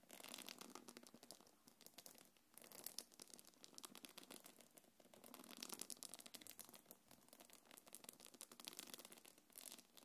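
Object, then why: Quilted faux-leather belt bag. Long nails scratch across the curved top of a small quilted black leather-look belt bag held on the palm. The result is a bright, dry, crinkly rasping that comes in uneven bursts, with little low end and no ringing after each stroke.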